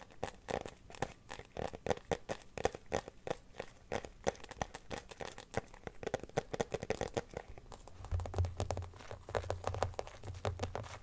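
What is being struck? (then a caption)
Clear plastic phone case. An empty, transparent teal glitter plastic phone case is held up and then placed on a blanket while fingernails scratch and tap it. The result is a dense run of quick, crisp clicks and crinkly scratches with a midrange body and brief bright edges. Each tap dies out almost instantly, and a low hum sits underneath from around the eighth second on.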